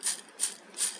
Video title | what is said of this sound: Kurkuri bhindi fry without corn flour / Bhindi fry / Kurkuri bhindi #bhindirecipe #ladyfingerrecipe | ये देखिए किस इसमें से कितनी कुरकुरी आवाज़ आ रही है